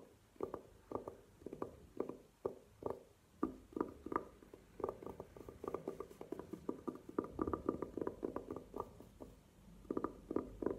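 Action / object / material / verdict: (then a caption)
tap / velvet-covered hard jewelry case / velvet / none. Long nails tap and scratch the velvet face of a hollow, hard burgundy velvet-covered jewelry case standing upright on a table. Quick, soft, muffled taps come in clusters with brief scratching, each tap dying away almost at once, with a low-mid hollow tone and little brightness.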